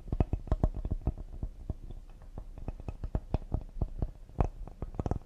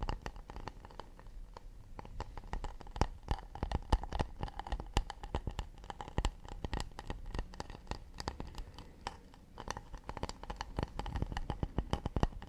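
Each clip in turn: First: Quick, soft fingertip taps on a cedar serving board give low, dry knocks with almost no ring. Second: Rapid fingertip taps and light scratches on a wooden plate, each a short dry tick with no ring.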